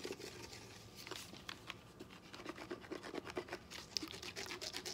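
A small hollow yellow lemon-shaped plastic lemon juice squeeze bottle with a dimpled texture and green cap is held in both hands and scratched and rubbed with short fingernails. Quiet, bright, dry scratching and rasping comes in quick short strokes, each dying away at once with no ring.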